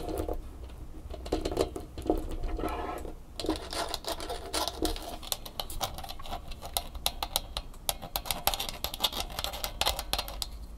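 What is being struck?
Plastic flexible tripod with bumpy legs and a hollow head.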